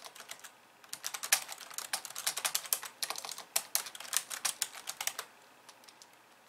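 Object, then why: Plastic computer keyboard. Long nails on both hands type fast across a pink plastic computer keyboard with white keys. A few light taps lead into a dense run of quick, bright, clicky keystrokes that thins back out to scattered soft taps. The sound is sharp and quiet, with no low end.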